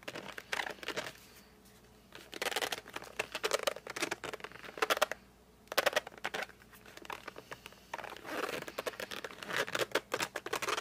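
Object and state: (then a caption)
Cardboard colored pencil box. Fingertips grip and rub the glossy front of a flat cardboard colored pencil box as the box is rotated. The result is bursts of squeaky, bright, rapid rubbing and gripping sounds in clusters, separated by short quiet pauses.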